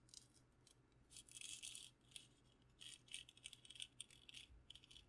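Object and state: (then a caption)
Wooden candle holder. Fingers tap and scratch a wooden candle holder with its candle removed, which a sister-in-law made and decorated with a custom wood burn of Princess Peach. Quick, dry, bright taps and rattling scratches come in short bursts, including a longer scratchy stretch early on. Each sound dies almost at once over a faint low hum.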